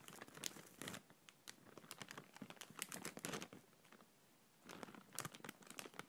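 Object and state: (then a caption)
Thin plastic bag being crinkled. A clear, thin, empty plastic bag held in the hand is gently scrunched and rubbed with fingertips and nails. Bright crinkling bursts of many quick, dry crackles come and go, separated by short quiet pauses.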